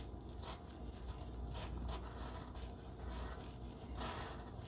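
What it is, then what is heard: Pencil scratching on cardstock. A wooden pencil point rubs and scratches over a flat pink cardstock heart resting on dark fabric, writing and drawing a small heart. Soft, papery scratching comes in short bright bursts over a steady low hum.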